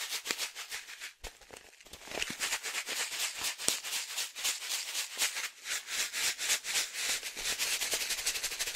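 A medium, resealable green and yellow foil-lined plastic coffee bag filled with coffee is shaken up and down by one hand. It gives a rapid, fairly steady run of bright, crisp crinkling rattles, about four per second, as the coffee shifts inside the rustling pouch. There is almost no low end, and each shake dies away quickly.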